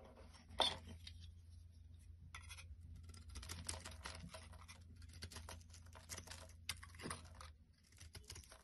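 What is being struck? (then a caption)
Bar of soap. A metal blade carves and shaves curls off the top of a solid oval bar of cream-white soap with an embossed logo, held in the palm. Dry, bright scraping and crisp scratching strokes come in uneven bursts over a steady low hum, with a sharp snap near the start and another louder scrape toward the end.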